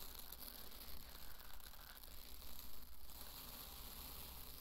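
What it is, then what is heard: Dry pearl barley poured. Two handfuls of dry pearl barley are scooped up and poured back onto a bed of the grain. A soft, continuous granular hiss and patter of falling grains swells in a few brief surges over a steady low hum.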